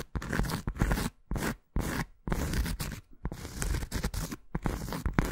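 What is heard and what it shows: Long acrylic nails scratch across the surface of a thin round cork coaster held flat. The result is a series of dry, rough scraping strokes separated by brief silences, with a low, heavy body and bright, gritty edges.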